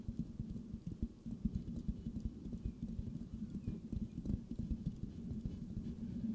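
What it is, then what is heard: Metal mesh microphone grille. Fingertips tap rhythmically on a hollow silver metal mesh microphone grille, giving a rapid, steady run of soft, muffled thumps. The taps are deep and dull, with a low hum-like tone near 215 Hz, almost no bright content, and no ring after each hit.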